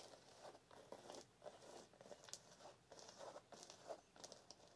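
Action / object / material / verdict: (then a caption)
scrape / canvas high-top sneaker / canvas / none. Long nails scratch the canvas of a blue canvas high-top sneaker with white laces and a rubber toe cap as it is held up. The result is a series of soft, dry, crinkly scratching bursts with bright, hissy edges. Each stroke fades almost immediately.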